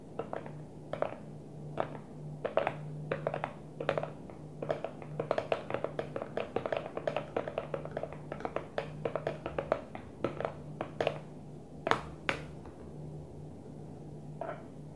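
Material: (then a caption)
Plastic. Long fingernails tap rapidly on the blue lid and sides of a small, empty-looking translucent plastic food container. The taps are short, dry, midrange clicks with almost no ring, some quick and clustered, others spaced apart. A steady low hum sits underneath throughout.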